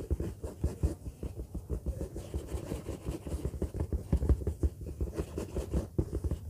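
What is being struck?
Faux-leather bag.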